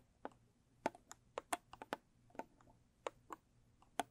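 Long stiletto nails tap and scratch the lid and edges of a small, square, closed rigid cardboard gift box with a blue textured covering. About 12 short, dry clicks come at an irregular pace, each fading almost instantly. They are quiet and mid-pitched, with faint bright scratchy edges.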